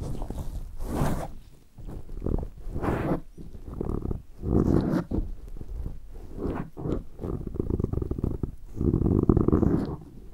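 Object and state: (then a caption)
Foam microphone windscreen being rubbed. Latex-gloved fingertips rub and massage both sides of a black round foam windscreen on a handheld recorder. They make deep, muffled rumbling and scrubbing swells mostly in the low end, with occasional brighter rustling bursts. The sound rises and falls continuously with no clean gaps.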